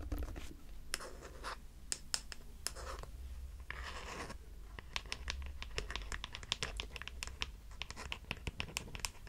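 A hollow, medium grey plastic cosmetic bottle with a white cap is scratched and tapped with long manicured nails. Quiet, dry scratching strokes at the start give way to a run of many short, bright taps over a low background hum.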